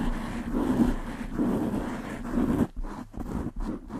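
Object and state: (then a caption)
Foam microphone windscreen being scratched. Long nails on both hands rapidly scratch the sides and top of a black foam windscreen on a large desktop microphone. The result is a dense, low, rustling scratch that swells in waves, then breaks into choppier bursts with brief gaps toward the end.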